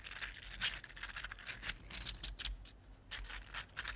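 A red-gold 3D printed plastic articulated slug resting on a table is wiggled and bent with the fingertips. Its plastic segments give off quiet, bright, dry clicks and crinkly rattling in quick, uneven bursts.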